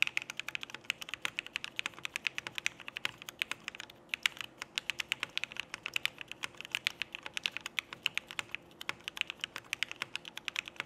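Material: Plastic.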